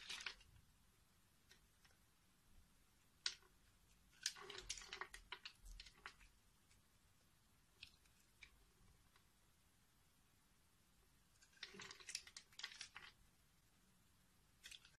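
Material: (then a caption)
Soap. A metal knife blade cuts and scrapes a solid green bar of soap, already scored into a grid and held in the hand, shaving thin layers and cubes off its surface. Bright, crisp scraping and crunching bursts come in short clusters, separated by quiet pauses.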